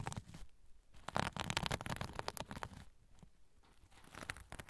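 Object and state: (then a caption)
Sequin pouch, scratched. A soft sequin-covered zipper pouch, held over the recorder, has its sequins scratched and rubbed with fingers. The result is quiet, crinkly scratching and rustling in uneven bursts, with bright clicking sequin texture over a low soft rumble.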